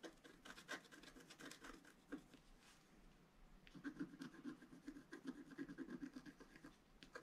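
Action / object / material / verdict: scrape / black-coated scratch art card scratched with a wooden stylus / coated card / none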